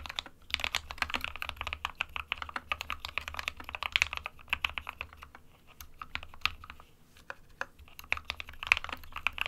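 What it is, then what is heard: Plastic mechanical keyboard being typed on. Fingertips of both hands type steadily on an SK61 compact 60% plastic mechanical keyboard with white and grey keycaps. A rapid stream of short, bright, clacky key clicks continues throughout, with a brief lighter pause in the middle and a faint low hum underneath.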